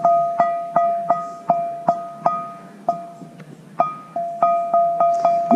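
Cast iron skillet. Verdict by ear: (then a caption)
Sound. A Griswold No. 6 large-logo cast iron skillet, bought at auction and still caked with crud, is struck 16 times for a ring test. Each strike produces a clear, bell-like tone around 690 Hz with a higher overtone, ringing briefly before fading. The steady ring indicates the skillet has no cracks, and it also sits flat.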